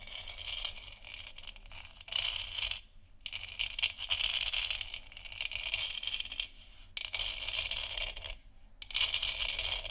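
Long nails scratch and tap across a large hollow textured plastic moon lamp sphere. A continuous bright, rasping scrape with dense rapid clicks fills the clip, swelling in louder bursts and pausing briefly in a few short gaps.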